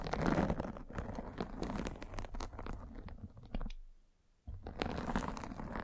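A metal-spiked derma roller is rolled across a fine white fabric mesh net stretched over a microphone, making a dense, scratchy crunch of rapid crackles with a heavy low rumble. The rolling briefly fades to near silence, then resumes just as thick.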